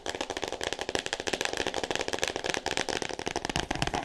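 A solid, roughly A4-size 'All About Me' hardcover book, still in its clear plastic shrink wrap, is tapped and scratched fast with long painted nails. About seventeen quick, dry taps sound over 4 seconds, each with a crisp, crinkly plastic rustle and bright high edges. Every tap stops almost instantly, with no ring.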